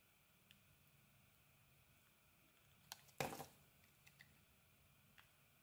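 A utility knife blade shaves and scrapes the surface of a small, solid white soap bar with pink glitter stripes held in the hand. Soft, scattered scraping ticks sit over a quiet background, with one louder, bright shaving burst near the middle that quickly fades.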